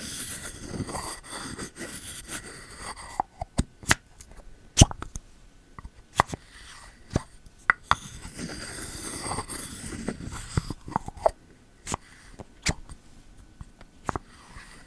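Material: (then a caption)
Bamboo, ceramic. A bamboo lid with a rubber seal is pulled out of and pushed back into a pink ceramic candle vessel by the fingertips, making a run of short, hollow plops that die away almost instantly. Softer scraping and rubbing fill the gaps between the sharper plops, especially at the start and in the middle.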